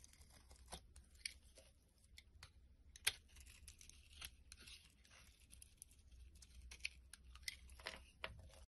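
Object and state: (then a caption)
Bar soap being carved. A blade scrapes and carves chunks and flakes from the edge of a solid white bar of soap held in the hand. Quiet, bright, crisp scraping and crinkly tearing sounds are broken by sharp little cracks, the loudest about three seconds in, over a faint low hum.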